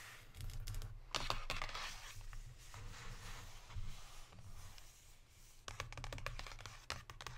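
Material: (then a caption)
Cardboard. Long pink nails tap rapidly on the front of a Lindt cardboard chocolate box lying flat on a table. Clusters of quick, dry clicks and scratchy, crinkly bursts come over a steady low hum, with a quieter stretch in the middle before a final flurry of taps.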